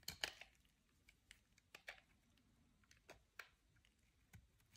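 A metal utility knife blade scrapes and shaves the surface of a solid oval white bar of soap, soft and dry, held in the hand. Eight crisp, dry scraping crackles ring out, bright and high-pitched and each dying away almost at once, over a quiet background.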